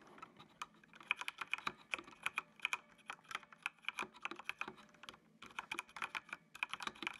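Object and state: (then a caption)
Plastic mechanical keyboard being typed on. Fingertips type on a full-size black plastic mechanical computer keyboard with an RGB backlight, producing a quick, uneven run of sharp, bright key clicks with almost no ring. The typing pauses briefly just past the five-second mark, then resumes at the same steady pace.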